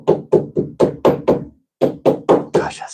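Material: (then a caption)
Metal. Ten sharp, evenly spaced soft-face hammer whacks land on the clamped, gasketed joint of the turbo boost piping on a twin-turbo Dodge, struck to seat the joint before tightening it further. Each hit is a short, dull knock centered around 440 Hz that dies away quickly, with a brief pause before the last four. The joint sounds solid and seated, with no boost leak.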